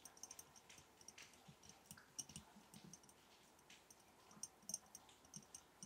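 A glass mason jar holding match sticks is tapped in a quick, uneven run of light, quiet clicks. Each tap is a bright, dry tick with a faint high glassy ping that dies away almost at once, and a few stand out louder than the rest.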